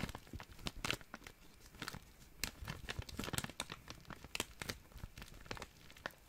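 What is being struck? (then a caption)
Thin plastic zip-lock bag. An empty, small, clear, thin plastic zip-lock bag is crumpled and crinkled between fingers. It makes a continuous run of quiet, crisp crackles with sharp, bright snaps scattered throughout. Each snap dies away almost instantly.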